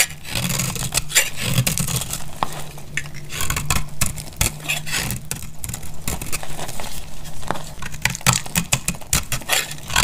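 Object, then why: Soap bar cut with a metal blade. A metal blade cuts into a dry, solid, pale blue soap bar held in the hand, and flakes crack off. Dense, crisp scraping and crackling snaps with bright edges repeat throughout, over a steady low hum.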